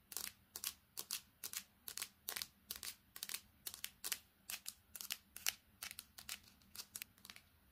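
A smartphone with a silver metal back and a dark glass screen is held in both hands and tapped rapidly with long painted fingernails, first on the back, then on the screen and edges. Around thirty quick, bright clicking taps come in uneven bursts, often in pairs, each dying away almost instantly over a faint low hum.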